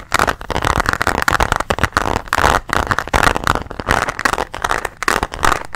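A closed, pink translucent hard plastic pencil case holding colored pens is tapped and scratched with nails and fingertips. Rapid, dense clicky taps mix with scratchy rasps, giving a hollow plastic clatter centered in the midrange around 850 Hz. The taps are dry and short, with almost no ring.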